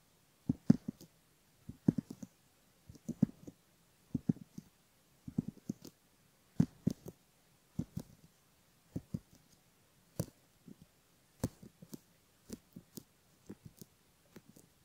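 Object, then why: Silicone ear model scraped with a bamboo ear pick. A bamboo ear pick scrapes the upper fold of the outer ear on a silicone left ear model while a finger holds the rim. Soft, dry, low scratching clicks come in short clusters of two to four, separated by brief pauses, across the clip.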